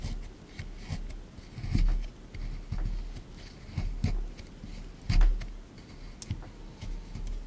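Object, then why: Plaster excavation block. A small plastic pick digs into a hard, crumbly plaster block in a tray from a dinosaur excavation kit. It makes rapid, uneven scraping and chipping, with dull low knocks and short bright scratchy bursts as bits of plaster break away.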